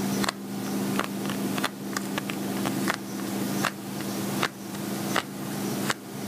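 Fingernails tap and scratch a medium-size, glossy black patent vinyl zippered cosmetic pouch that is hollow and appears empty. Short, sharp clicks and brief scratchy brushes land at an uneven pace, over a steady low hum.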